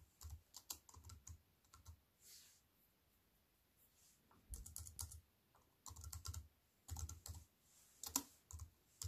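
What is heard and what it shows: A slim, compact wireless keyboard with black plastic keys in a grey metal-look frame, lying on a wooden table, is typed on with fingertips and medium-length white-painted nails. Quick bursts of short, bright plastic key taps with a soft low thump come in clusters, separated by brief quiet pauses. Each tap dies away almost instantly.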